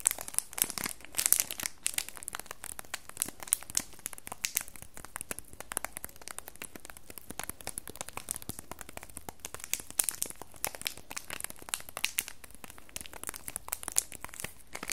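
Fingertips and nails squeeze and crinkle the plastic film on a small red cellophane-wrapped cardboard soap box held in both hands. Dense, bright crinkling and crackling continues with many quick, sharp peaks throughout.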